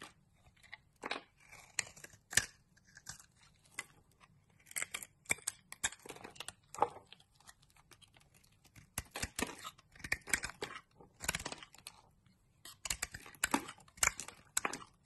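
A box-cutter blade shaves a light blue solid bar of soap, sending powdery curls and chunks off the bar. Short, dry, bright scraping and crackling bursts come in irregular clusters with brief quiet gaps, with almost no low end and no ring after each stroke.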